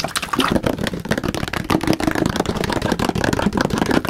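A large, hollow blue plastic water jug, likely holding some water, is held up close and tapped and slapped rapidly with the fingertips and palm. The result is a dense, continuous run of quick, hollow, mid-pitched thuds that die away fast.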